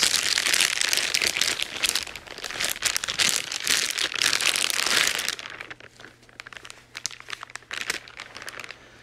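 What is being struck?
Thin clear plastic bag.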